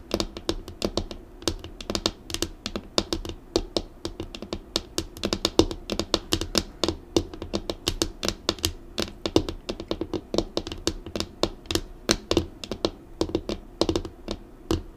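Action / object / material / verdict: tap / laminated desk tabletop / laminate / none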